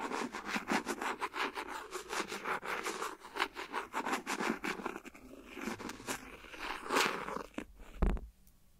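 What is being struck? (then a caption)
Clear silicone phone case. A thin, hollow, empty transparent silicone phone case resting on the recorder is tapped with the end of a clear plastic ballpoint pen, producing a rapid series of about twenty short, soft, crackly taps with a scratchy texture. The taps slow near the end, finishing with one louder low thud before quiet.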